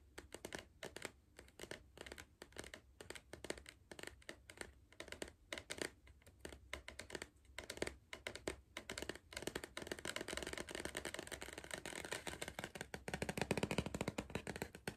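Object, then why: Cardboard crisp tube. Fingertips and nails tap the side wall of a tall, hollow Pringles cardboard crisp tube held in the hand. The sound is a run of short, dry clicks with a faint low hum beneath. The taps are spaced out at first, then speed up into a dense, brighter, slightly louder flurry toward the end.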